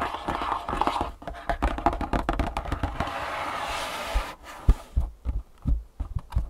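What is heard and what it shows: Fingertips and long nails tap quickly on top of a long, closed, printed cardboard Superfeet insole box lying on a table. The result is a run of soft, dull, low thumps with short clicky edges, broken by a stretch of steady rustling, scratchy noise before sparser taps finish the clip.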